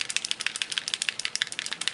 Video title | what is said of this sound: 14 Days of Tricks & Treats: Mists and Sprays with Kristina (Two Peas in a Bucket) | has a little ball inside you can kind of hear that and you shake it